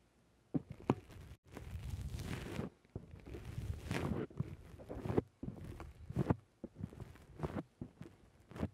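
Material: Foam.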